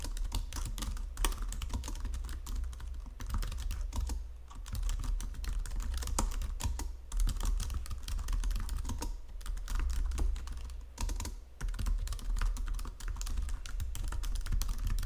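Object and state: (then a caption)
Plastic computer keyboard. Fingertips with long nails type steadily on a white plastic Logitech full-size keyboard under green lighting, producing a dense run of quick, dry clicks and clacks. A steady low hum sits underneath, and the typing briefly pauses a few times before resuming.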